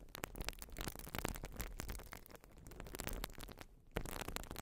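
Long nails scratch a white urethane foam sponge, making a dense run of dry, crackly scraping bursts with bright edges over a low, rough rumble. The sound stays steady and busy throughout, with a brief quieter dip just before a final louder burst near the end.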